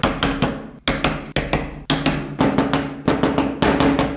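The fine steel tip of a carving tool scratches and cuts tread grooves into a small, solid carved wooden toy wheel held on a pink cloth. Sharp, dry knocking cuts come in quick bursts, each decaying briefly under a steady mid-pitched tone and a bright scraping edge.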